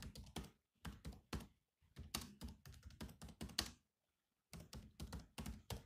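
Fingertips type rapidly on the black plastic chiclet keys of a silver laptop with a hollow body, giving about 18 quick, dry taps in bursts. Each tap has a low, hollow thunk with a bright click on top, with brief pauses between groups of keystrokes.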